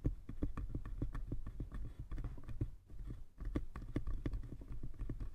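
Fingertips and nails tap rapidly on both sides of a small, light, hollow wooden box with a brass clasp. The result is a quick, uneven patter of short, dull knocks that are mostly low and boomy with faint clicky edges. The tapping pauses briefly near the middle, then resumes.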